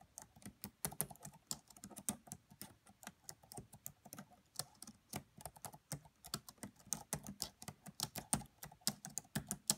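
Fast typing with long nails and fingertips on the black plastic keys of a red laptop keyboard. The result is a steady stream of quiet, bright, dry clicks and taps that stop almost instantly, with soft low thumps under some keystrokes.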